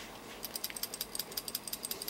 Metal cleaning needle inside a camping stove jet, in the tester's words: shake it here that needle sounds good